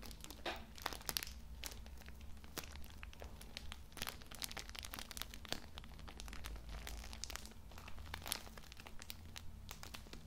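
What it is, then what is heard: Plastic-wrapped pocket tissue multipack. A soft, full pocket tissue multipack wrapped in plastic film is held in both hands while fingertips rub and crinkle the package. The result is continuous crackly, bright crinkling with many sharp, quick snaps over a steady low hum.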